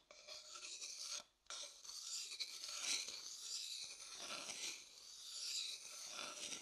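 A thin wooden stick scrapes and stirs around the inside of an empty, pale, hollow wooden bowl. The result is a continuous bright, raspy scraping with a brief pause early on, then steady rubbing swirls that rise and fall in loudness.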